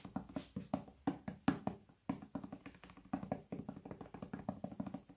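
A medium, hollow white plastic bottle is held sideways and tapped on its body with the fingertips in a quick, uneven rhythm of around thirty soft taps. Each tap is a short, dull, hollow knock with a low-mid resonance around 277 Hz that dies away almost at once.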